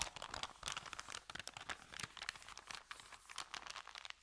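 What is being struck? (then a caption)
Paper bag. Fingertips press and rub a folded, empty white paper sandwich bag with green print lying on a carpet. The result is a quiet, continuous stream of dry, bright crinkles and crackles with sharp, quickly fading snaps and almost no low end.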